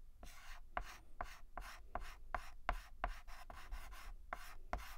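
White chalk scratches across a black chalkboard in short strokes, filling in the letter A. About ten quick, uneven scraping strokes sound with a gritty, bright hiss. Each stroke starts with a faint tonal squeak.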